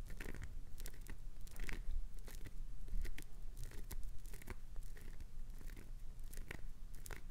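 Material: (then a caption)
Glycerin soap. Long nails scratch and scrape the grooved face of a solid green glycerin soap bar held up close, shaving bits off it. A dense run of dry, crunchy scrapes and short bright ticks rises and falls over a steady low rumble.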